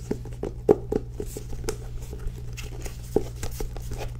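Long nails tap and scratch the illustrated cover of a solid, teal cloth-bound hardcover book held in both hands. Quick, dull, muted taps with a low-mid knock land irregularly among soft scratchy rustles, over a steady low hum. Each tap dies away almost instantly.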